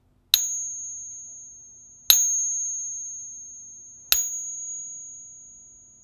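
A counterfeit Morgan dollar is pinged three times, each strike giving a bright, high ring that fades slowly over about two seconds. Its ring differs from that of a genuine 90% silver Morgan dollar.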